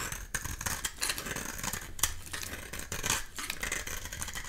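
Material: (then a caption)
Soap. A solid, dry red oval bar of soap, held in the palm, is scraped with a metal utility knife blade, peeling off orange shavings. The result is a continuous, bright, crisp rasping, with rapid scratchy strokes and short sharp peaks over a faint low hum.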